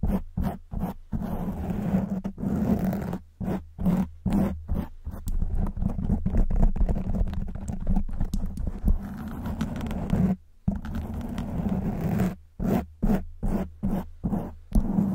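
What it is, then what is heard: Foam microphone windscreen being scratched. Long white nails scratch a black foam windscreen on a silver microphone, producing a muffled, low, rumbling scrape. The sound comes in bursts of scratching separated by brief silent gaps, with almost no bright content.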